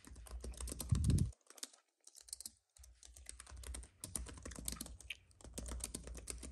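A slim white wireless keyboard with plastic keys on a silver aluminum base, lying on a dark fabric mat, is typed on steadily with the fingertips of both hands. Dense, quick key clicks come in bursts with short pauses, over a low thudding undertone that swells briefly near the one-second mark.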